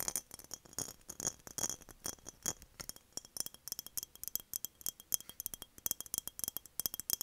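An empty, hollow, embossed glass mason jar is tapped with long nails, first while tilted and then while standing upright on a desk. About 45 quick, bright clicks and clinks come in a steady, rapid stream. Each has a very short, high glassy ring with almost no low end.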